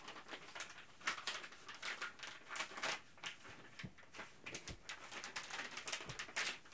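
A printed plastic Ziploc Zip'n Steam bag is folded and crinkled in both hands, then held up and shaken. The result is a dense run of bright, crackling rustles and sharp snaps, with a few brief low thumps underneath.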